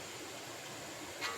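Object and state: Nothing is struck.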